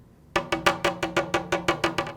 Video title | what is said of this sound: Hartzell Composite Propeller Repair Video - Carbon Tip Repair | you can hear what the blade would sound like